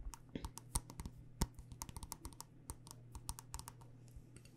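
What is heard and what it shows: Long dark nails tap rapidly on a small black glass candle jar with a white label, filled with wax. About 22 quick, sharp, bright clicks come in an uneven rhythm with almost no ring. A steady low hum runs underneath.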